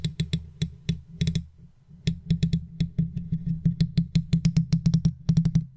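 A wooden toothpick held in long-nailed fingers taps and scratches the hollow, rounded metal mesh grille of an uncovered silver condenser microphone. About thirty quick, short taps come in an uneven rhythm with a brief pause near the two-second mark. Each tap is a deep, close thud around 160 Hz with a faint bright tick on top and almost no ring.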